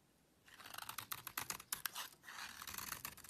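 A small metal knife blade scrapes and carves a solid, rectangular, palm-sized beige soap bar held in one hand, with the shavings piling up on a black surface. After a near-silent half second, dense bursts of crisp, bright scratching and clicking start, pause briefly around the two-second mark, then resume until the end.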